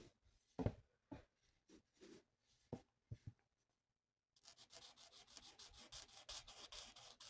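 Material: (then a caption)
Paper. A felt-tip alcohol marker held in the fingers rubs and scratches across a thin, flat printed paper mandala coloring sheet lying on a table. Scattered soft taps and short low strokes come first, then a brief silence, followed by a steady run of rapid, bright, scratchy back-and-forth coloring strokes.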